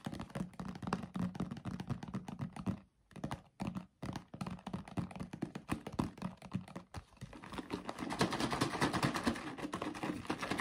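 A yellow paperboard drink carton with a white plastic cap, hollow and apparently filled with liquid, is tapped and scratched with fingertips and nails, giving dense, rapid, dull low thunks with brief pauses. It is then shaken vigorously, turning into a louder, continuous, brighter rushing sound toward the end.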